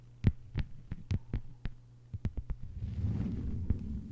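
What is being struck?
Thin plastic cutting mat tapped with fingernails.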